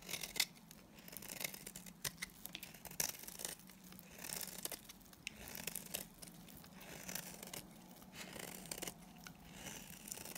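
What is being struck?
Bar of soap shaved with a blade.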